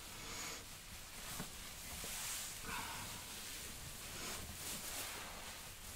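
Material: Nothing is struck.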